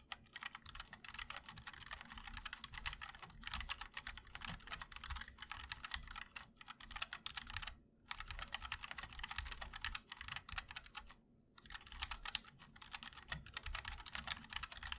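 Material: Plastic, aluminum.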